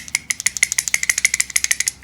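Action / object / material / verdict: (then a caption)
shake / wooden toy pieces on a wooden dowel / wood / loose. Wooden square and circle toy pieces fitted on a dowel are held down and shaken, giving a quick run of about 13 bright, dry rattling clicks. The steady rattle shows the pieces are loose enough to move up and down freely, a perfect fit.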